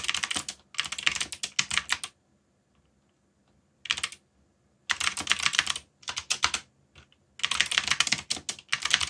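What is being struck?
Mechanical keyboard with plastic keycaps.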